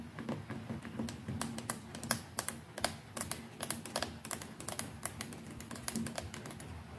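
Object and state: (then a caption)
Plastic electric toothbrush tapped with nails. Long nails rapidly tap and scratch the plastic neck and brush head of a white plastic electric toothbrush held in one hand. A dense run of sharp, bright clicks that die away almost instantly sits over soft scratchy rustling and a faint low tone near 230 Hz.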